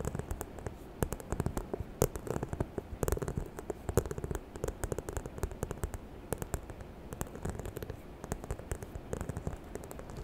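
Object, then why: Faux leather handbag. Long nails scratch and tap the croc-embossed surface near the zipper of a small, hollow, white faux leather handbag. The result is a dense stream of short, dry clicks and taps layered over a soft, low scratching rustle, with a few sharper taps standing out.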